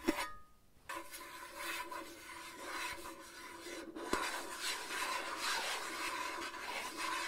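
A fingernail scratches and rubs the printed surface of a small, hollow, cube-shaped gift box, red with a colorful patterned lid, that appears to be cardboard and is held up close to the mic. A sharp tap and a brief near-silence give way to a steady, bright rasping scratch that runs to the end, broken by a sharp click about four seconds in.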